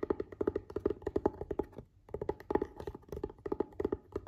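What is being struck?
Hard plastic glasses case.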